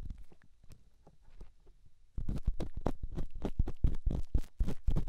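A small, solid grey rough rock held in the fingertips is rubbed and scratched against a silicone ear on a binaural microphone. Soft, low scraping strokes come first, then grow louder and denser about two seconds in, becoming a fast run of deep, rumbling scratches.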